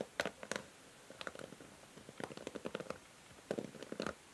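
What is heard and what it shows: Long nails scratch and strum the white plastic bristles of a pink plastic hair brush. The result is quiet clusters of short, dry plucks and ticks with a midrange body around 580 Hz and bright, crisp edges. They are separated by brief pauses.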